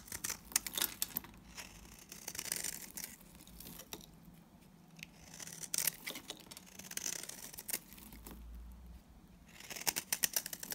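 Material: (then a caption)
Soap. A solid mauve-brown Timotei soap bar, held in the hand, is shaved with a box cutter blade so dry flakes curl off. Crisp, bright scraping and cutting strokes come in quick bursts, separated by quiet pauses, at a low overall level.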